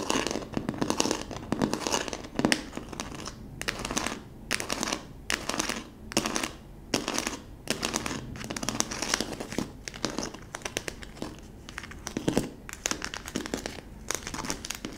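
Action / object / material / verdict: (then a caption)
scrape / plastic bottle wrapped in plastic film / plastic / none. Long nails scratch and pinch the crinkled clear plastic film wrapped over the base of a hollow plastic bottle with a yellow label. The result is dense, fast crinkling and crackling in bright, dry bursts that stop abruptly. Brief quieter pauses fall between the bursts.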